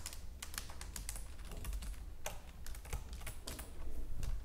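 Long nails type quickly on the keys of a white plastic computer keyboard, producing a rapid run of sharp, bright clicks. The clicks sit over a steady low rumble that carries most of the energy.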